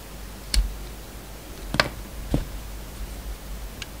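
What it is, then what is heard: Bar of soap. A solid bar of soap with a red coating and a yellow inside, held in the hand, is shaved with a metal utility knife blade. Three sharp, dry scraping clicks stand out over a low, steady background, each with a bright top and a thud at the bottom, dying away almost at once.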